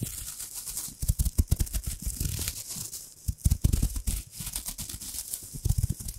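A thin, crumpled, hand-sized gold metallic foil wrapper is held close to the microphone and crinkled and scrunched with long-nailed fingers. The result is a dense, continuous crackle of short crinkles and soft low thumps with a bright, hissy edge, rising into louder bursts of scrunching.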